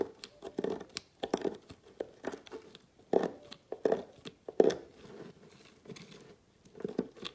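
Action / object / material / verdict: scrape / bar of solid soap cut with a metal blade / soap / none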